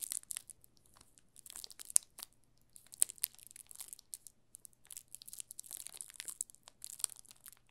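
A yellow solid bar of soap wrapped in thin clear plastic film is held up at an angle in both hands while fingertips squeeze and rub the film. Dense, bright crinkling and crackling comes in irregular bursts with brief quiet gaps, mostly high-pitched, with a faint low hum underneath.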